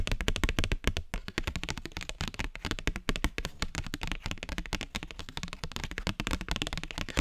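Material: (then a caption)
Paper. A thin cardstock paper postcard, held horizontally, is tapped rapidly with fingernails. The result is a dense, continuous stream of short, dry, crackling taps with a papery low thump and bright clicky edges that end instantly without ringing.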